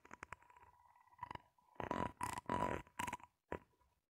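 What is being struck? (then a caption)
Ribbed plastic hose. Long nails scratch and flick across the ridges of a grey, ribbed, flexible plastic hose that is hollow and empty, held upright and slightly bent. A quick run of sharp ticks gives way to longer, dense raspy scrapes with bright upper edges, separated by short pauses. A faint steady tone near 1 kHz runs beneath them throughout.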